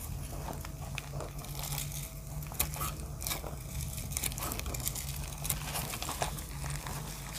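A utility knife blade repeatedly scrapes and slices flakes off a solid, speckled grey-blue dry pressed soap block held in a hand with dark painted nails, over a pile of soap shavings. Dry, crumbly crunching and crinkling scrapes sound over a steady low hum, with brief bright cracks standing out.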